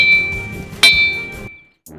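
An igneous boulder at Maremma Gudem, Nalgonda, is struck like a lithophone and gives a musical, bell-like ring, a quality attributed to its high iron and aluminium content. A ringing tone near 2.3 kHz is already sounding when a single sharp strike renews it, and the bright ring then fades over about a second before a brief silence and a short burst of noise at the end.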